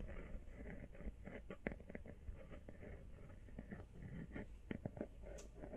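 Long painted fingernails tap rapidly on a small, hollow, empty teal rubber or silicone iPhone case held upright in one hand. The result is a quiet, continuous stream of soft, dull, muffled taps with a low, hollow thump. Each tap dies away almost instantly, and a few slightly sharper clicks stand out.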